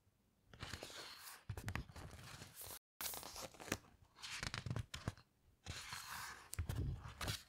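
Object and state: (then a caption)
Pages of a hardcover book being turned. Fingertips slide along the heavy glossy pages of a hardcover coffee table book and then turn each page over. The clip alternates soft, bright paper swishes with crisp crinkling flips and low, dull thumps as pages settle, separated by short quiet pauses.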